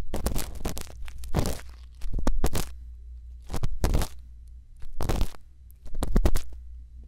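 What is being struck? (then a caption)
Silicone ear microphone and bamboo earpick. A thin bamboo earpick scratches inside the ear canal of a white silicone ear microphone. Short bursts of close, crackling scrapes come in clusters over a steady low hum, with quiet gaps between them.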